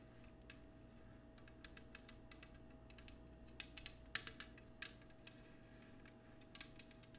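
An empty clear cut glass oval dish sits on a table, then is lifted and held, while fingernails tap and scratch its patterned underside. Soft, irregular bright ticks and scraping clicks come through with very little ring, with a few sharper taps near the middle. A steady low hum and a faint constant tone continue underneath.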